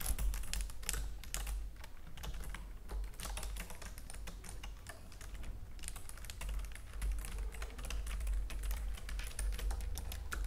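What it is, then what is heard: Plastic computer keyboard. Long nails type quickly on the keys of a white plastic computer keyboard. Rapid, bright, clicky taps run continuously over a steady low hum, with a brief lull near the middle before the fast typing resumes.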